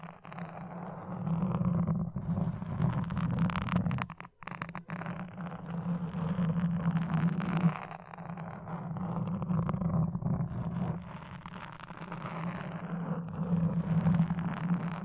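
A wooden toothpick is scratched across a black foam microphone windscreen. It makes a dense, continuous scratchy rustle that is heavy in the low range, with a steady hum-like band around 160 Hz. Brief dips in the scratching come around 4 and 8 seconds.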